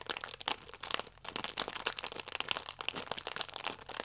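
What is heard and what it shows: A flat stack of yeast sachets wrapped in clear plastic film is squeezed and rubbed with thumbs and nails. It gives a steady stream of bright, crisp crinkling and sharp little crackles, with almost no low end. The sound comes in quick, uneven bursts that stop dead between movements.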